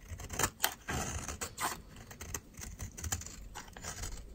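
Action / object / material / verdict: scrape / soap bar shaved with a metal blade / soap / none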